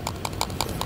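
An imported 8000mAh plastic-cased lithium extended battery pack for the DJI Mini 3 and Mini 4 Pro drone is shaken by hand, giving five short, clicky rattles with a midrange knock and bright top over a low background hum. The pack is poorly made and not secure, with gaps inside that leave its contents loose.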